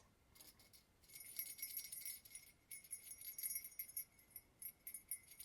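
Acorn-shaped Christmas earrings are shaken and handled, producing bright, high-pitched jingling in irregular bursts. The earrings have not been worn in a long time because they caused migraines.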